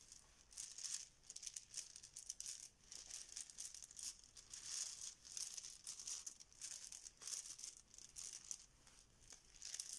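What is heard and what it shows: A yellow fabric Bananagrams banana pouch holding plastic tiles is squeezed and shaken by hand. The tiles rattle inside in quiet, continuous bursts of bright, high clicking and crinkling with almost no low end. The rattling swells and fades repeatedly over about ten seconds.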